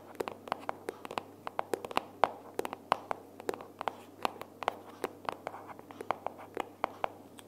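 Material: Cardboard.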